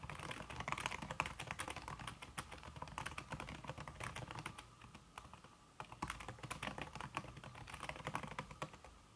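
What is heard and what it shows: Fingertips with red-painted nails type fast on a slim backlit aluminum keyboard whose keys are covered by a red silicone skin. The result is a dense, rapid stream of short, soft, muffled key taps with a dull thud underneath and a tone centered near 1.1 kHz. The typing eases briefly a little past the midpoint, then resumes at the same quick pace.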